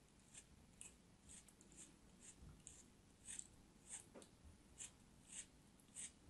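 A small knife blade cuts and slices through a solid block of blue kinetic sand held in fingers with long white nails. About ten soft, crisp crumbling scrapes with bright, high-pitched hiss come at an uneven pace over a quiet background.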